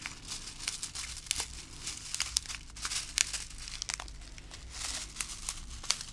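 A small, full, clear plastic zip-lock bag of small round colorful plastic beads is held and pressed by fingertips with long glittery pink nails, crinkling the bag and shifting the beads inside. The result is a steady, bright, crackly crinkle of plastic, mostly high in pitch, scattered with sharp, quick-fading clicks and ticks as the beads move, over a faint low hum.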